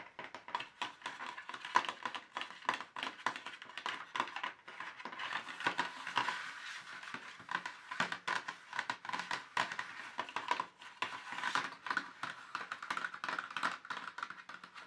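Fast fingertip and fingernail tapping with both hands across the ridged surface of an empty, hollow, thin molded black plastic paint tube tray. The result is a dense, continuous patter of dry, clicky plastic taps. The taps center around 1 kHz, with almost no low end and very short decay.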